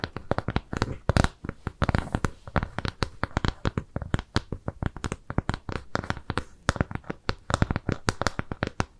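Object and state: Round kraft cardboard piece.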